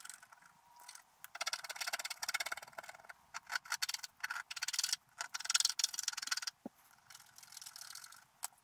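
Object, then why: Wax-coated scratch art paper scraped with a wooden stylus. A wooden stylus scrapes a large area of coating off a flat, black-coated scratch art sheet resting on a table, in repeated strokes. The result is a series of bright, dry, hissy scratching bursts that come in quick, uneven strokes with short pauses between them and almost no low end.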